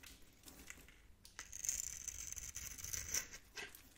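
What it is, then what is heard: Bar of soap being scraped. A blade tool scores and scrapes a solid, hand-sized bar of green and turquoise soap held in the palm, shaving off small cubes. Dry, bright scratching and crinkly scraping bursts build into a sustained high, hissing scrape across the middle of the clip, then ease back into lighter scratches.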